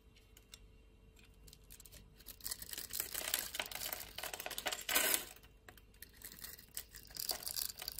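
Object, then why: Bar of soap. A utility knife blade shaves and scrapes small cubes off a solid purple bar of soap with a grid-scored surface, held in the palm. The sound is soft, bright, crisp scraping and crackling with rapid, uneven little ticks, swelling into a louder rasping cut near the middle before settling back to lighter scraping.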